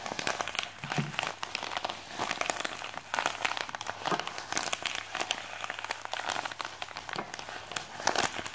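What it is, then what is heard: Plastic mailer bag. A white printed plastic postal mailer with a package inside lies on a desk while fingertips and nails scratch and crinkle its plastic surface. Continuous bright, dense crinkling and crackling is heard, made of many quick, sharp scratches with no ringing.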